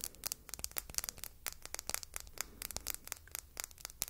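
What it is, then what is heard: Glass perfume bottle tapped and scratched with fingernails. Long red nails tap and scratch a small, solid-looking red glass perfume bottle shaped like an apple, with a silver metal cap, held in the fingertips. The result is a quiet, rapid run of crisp, bright clicks with almost no ring, mixed with light scratchy scraping across the glass.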